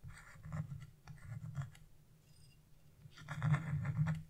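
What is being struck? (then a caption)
Wax-coated scratch-art paper scraped with a flat chisel. A hand with blue nails scrapes a flat chisel across a black wax-coated scratch-art page with a bird design, piling up flakes of coating. Repeated dry, rasping scratch strokes come in uneven bursts with a low, rough body and a bright scraping edge. After a quieter pause, the final strokes are the loudest.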